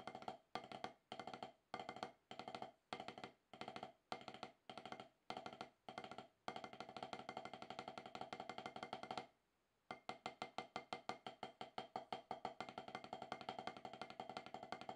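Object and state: Rubber drum practice pad under stick taps.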